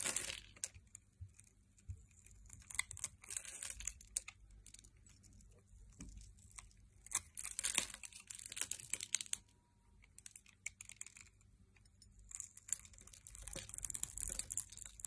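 A metal blade scrapes thin cube-grid flakes off a solid red translucent glycerin soap bar that has been scored and is held in the hand. Quiet, bright, crisp crackling and crunching comes in bursts of rapid tiny snaps, separated by short near-silent pauses, over a faint low hum.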